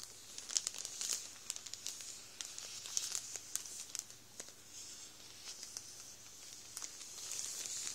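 An open hand presses and rubs a full Warburtons plastic bread roll bag with its fingertips, crinkling the plastic. The result is a quiet, continuous run of bright, crackly crinkles and sharp snaps, with almost no low end.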